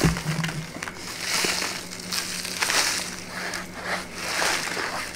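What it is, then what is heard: Paper bag being crinkled. A small, empty brown kraft paper bag is held in both hands and handled, folded and crinkled with long manicured nails and fingertips. The result is close, bright crinkling and rustling in slow, overlapping swells, with a faint steady low hum underneath.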